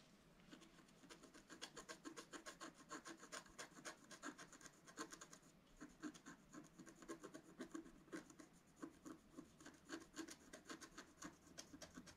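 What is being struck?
Coated scratch art paper card scratched with a wooden stylus.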